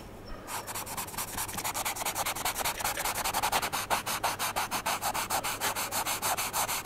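A charcoal pencil, held vertically, is rubbed in small circles on a large white drawing paper sheet to shade the eye area of a portrait. After a brief near-silent start, it makes a rapid, steady series of short, dry scratching strokes with a bright, hissy texture. The strokes repeat at about three per second.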